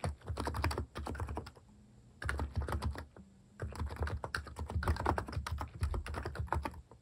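Fast fingertip typing on a Hanmumu capacitive keyboard with plastic cat keycaps, done while finishing a 400,000-character novel. Rapid clusters of deep, muted keystrokes come in three bursts with brief quiet pauses between them, each press short and thocky with little ring.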